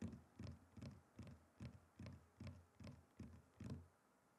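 A wooden chopping board is tapped and knocked in a steady, unhurried series of about ten dull, low thuds. Each knock is short with little ring and almost no high-frequency brightness.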